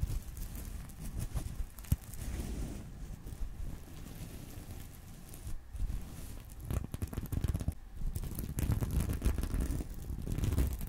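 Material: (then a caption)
Sequins. Fingers brush and scratch the sequins of a small reversible sequin fabric purse resting on a pillow. The result is a continuous soft, low, muffled rustling with crackly scratches, one sharp tap near the start, and bursts that grow denser and louder toward the end.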